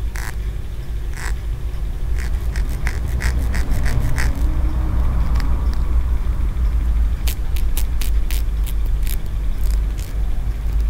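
A small solid green aventurine stone pagoda figurine with tiered horizontal ridges is pinched between the fingers while fingernails scratch and rub along its ridges. Short, bright, scratchy ticks come in quick clusters, then pause and return, all over a steady low rumble.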